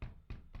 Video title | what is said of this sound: Adidas ULTRABOOST 5X vs Adidas SUPERNOVA Prima - той випадок, коли щось пішло не так… | більш та такий глухий звук